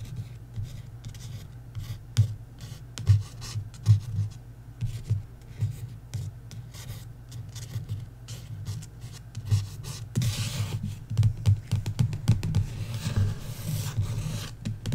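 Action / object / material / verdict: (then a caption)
scrape / paperback book cover / paper / none. Long nails scratch and trace along the cover lettering of a paperback book in slow, irregular strokes. The low, dull scraping has short sharp peaks, and it turns brighter and raspier in the last few seconds.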